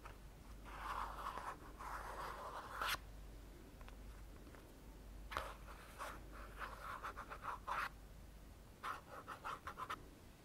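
Short fingernails and fingertips scratch and tap the body and label area of a small plastic Balea hand cream tube, which is hollow and likely partly filled. A long, dry, rasping scratch gives way to a run of quick scratchy strokes and light taps. The sound is quiet and close, with a papery midrange and little ring.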